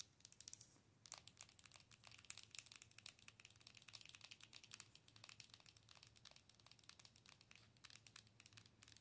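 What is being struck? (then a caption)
Plastic owl-shaped night light. A hollow, color-changing plastic owl night light is held in both hands while long nails scratch and tap across its front. The result is a dense, quiet stream of rapid, crisp clicks and scratchy crinkling, bright and high with almost no ring. A faint low hum sits underneath, and a softer hiss opens the first second.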